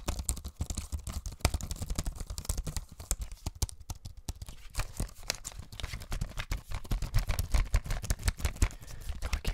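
A thin, hollow, tablet-sized grey plastic wireless computer keyboard is held up close to the microphone while a ringed hand's fingertips press and tap its keys and casing. The result is a fast, dense run of short clicks and taps with a deep, hollow low thump and almost no ring after each hit.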